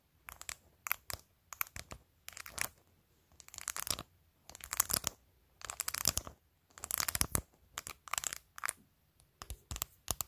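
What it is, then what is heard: Plastic phone case with acrylic nails, tapped and scratched. Long nails tap and scratch along the top edge of a phone in a clear plastic case covered with glued-on matte acrylic press-on nails. Quick clusters of bright, crisp clicks and crinkly scratches come in short bursts separated by brief pauses. The sound is dry and close, with very little low end.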